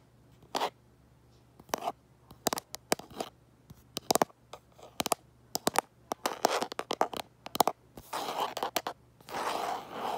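Fingertips and nails tap and scratch the back of a hand-sized smartphone in a light-colored hard plastic case, held in one hand while it records. Sharp, dry clicks come in irregular clusters with quiet gaps between them. Toward the end, they give way to longer, brighter scraping bursts.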